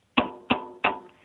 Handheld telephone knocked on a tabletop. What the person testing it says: it sounds solid the table is solid the phone is solid